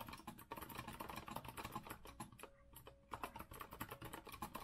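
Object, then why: Metal-framed mechanical keyboard with round plastic keycaps. Fingertips of both hands type quickly on a compact retro Azio mechanical keyboard with a rose-gold metal frame and round plastic keycaps, resting on a wooden desk. It makes a dense run of short, crisp clacks with a bright click, with only brief lulls between bursts of keystrokes.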